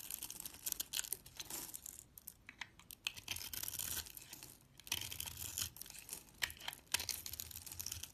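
A steel utility-knife blade scrapes and carves small cubes off a scored, hand-sized solid white bar of soap with a blue glitter edge, held in the fingers, as flakes fall away. The sound is a run of crisp, bright scraping and crackling bursts, mostly high-pitched with little low end, separated by brief quiet pauses.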